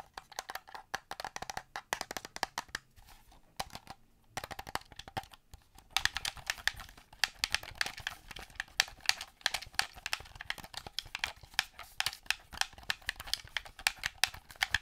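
Fingertips and painted nails tap and click the buttons and surface of a hand-sized, hollow black plastic Xbox-style game controller, held in both hands in front of the microphone. Fast, dry, typing-like clicks come in dense bursts, with brief quieter pauses before about 6 seconds and then a steadier stream. Each click is sharp and bright, with almost no low end and no ring.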